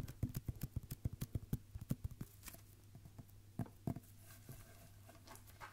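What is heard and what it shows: Fingertips tap along a red Christmas wrapping-paper roll, with the paper wound on a hollow cardboard core and the roll held in both hands. Nineteen short, dull, low thumps come in a quick, clip-clop-like run for the first two seconds, then thin out to a few scattered taps. A steady low hum sits underneath throughout.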